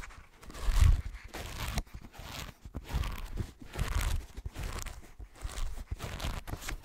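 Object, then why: Paper page edges of a thick hardcover book. Fingertips scratch and tap the paper page edges of a thick green hardcover book and riffle through them. The result is a close, uneven run of soft scratching, crinkling taps and papery rustles with a dull low thump beneath, swelling and fading in short bursts.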